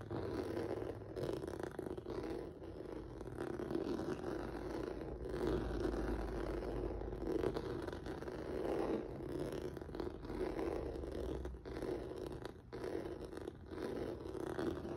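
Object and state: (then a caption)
Rubber noodle-texture mat scratched. Fingertips and nails scratch across a flat black rubber or vinyl mat with a textured noodle surface, making a continuous rough, rustling scrape. The sound sits mostly in the low midrange around 400 Hz, with a faint low rumble underneath and brief pauses between strokes.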